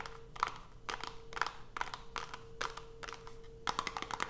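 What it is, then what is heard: Cardboard soap box. Long pointed nails tap rapidly on the top and edges of a small white cardboard Coast soap box, closed with the soap inside and resting on a dark cloth. Quick clusters of dry, hollow clicks with bright, papery edges come in bursts, each dying away almost instantly. A faint steady tone hums underneath throughout.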